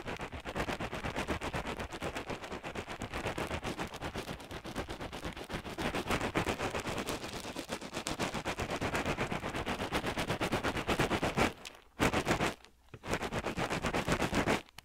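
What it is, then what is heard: Pellet-filled crocheted yarn hacky sack. A small, hand-sized, solid crocheted yarn hacky sack filled with pellets is squeezed and kneaded with the fingertips beside the left microphone ear. This produces a dense, rapid, gritty crackling and rustling of shifting pellets, with brief pauses near the end before the kneading resumes.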